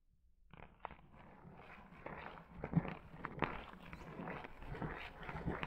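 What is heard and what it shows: Long acrylic nails scratch a long, shaggy pink faux fur rug, fingertips digging into the pile. The result is a quiet, dense, rustling scratch with soft, irregular bursts, mostly low in tone.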